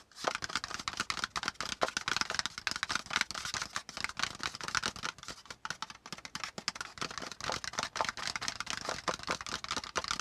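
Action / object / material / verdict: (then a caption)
tap / kraft cardboard folder / cardboard / none. Fingertips of both hands tap quickly in a typing-like pattern on a brown kraft cardboard folder lying on a notebook. The result is a steady stream of short, dry, papery clicks with a bright, crisp edge and almost no ring.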